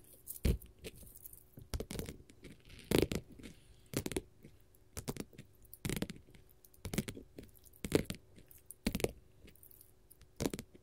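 A flat, solid blue glitter faux leather sheet is tapped and scratched with long gold metal finger-jewelry nail caps. Irregular, crisp clicks and short scratchy bursts sound across the clip, each bright and dry with almost no ring, over a quiet low hum.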